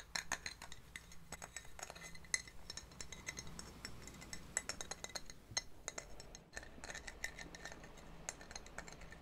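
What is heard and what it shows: A medium pinkish ribbed scallop shell, thin and hollow, is held in cupped hands and tapped and scratched with long painted nails. The result is a quick, irregular run of light, bright clicks and ticks, each dying away almost at once, with soft scratching between them over a steady low hum.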